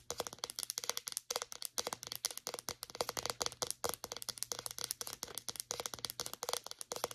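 A white plastic deodorant stick, held upright, is tapped with long nails on its label and cap. A fast, steady run of dozens of crisp, bright clicks is heard, each dying out almost instantly, with a brief pause about a second in. A faint, constant low hum sits underneath.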